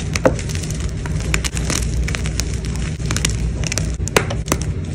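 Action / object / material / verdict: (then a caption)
scrape / gym chalk block / chalk / none. White gym chalk pieces from a gym chalk block are crushed and crumbled quickly between fingers with blue nails over a bed of chalk fragments. Rapid dry crackles and crisp crunching snaps, bright at the top, sit over a steady low rumble.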